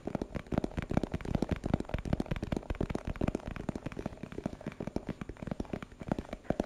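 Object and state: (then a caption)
Plastic box. Fingertips and nails tap rapidly and irregularly on a small, hollow, translucent plastic box with a purple printed label. The taps are dull, low, hollow knocks that stop at once with no ring, mixed with a few lighter clicks across the whole clip.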